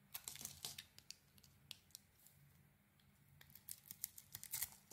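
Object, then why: Soap bar carved with a blade. A solid pink soap bar with an orange glitter coating, held in the hand, is carved with a utility blade, shaving and scraping off slivers. A quiet series of short, crisp, high-pitched scraping and crackling bursts comes in clusters, with a calmer stretch in the middle before the bursts pick up again toward the end.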